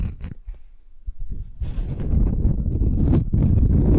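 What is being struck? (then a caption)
Beeswax-coated cotton sheet. A thin beeswax-coated cotton wrap sheet is held upright while long nails scratch it and fingers grip the waxy fabric. Sparse, soft scratches and crinkles at the start build after about a second and a half into dense, continuous crackling and rustling that is heavy in the low end.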